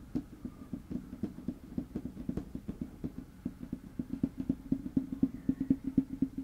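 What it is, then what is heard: Wooden table top. Fingertips with short nails tap and scratch a large, flat, light wood-grain tabletop (solid, possibly laminate) on both sides of the microphone. The result is a quick, uneven run of short, dull knocks centered around a low 266 Hz tone, with faint scratching between them. The taps grow louder and more evenly spaced toward the end.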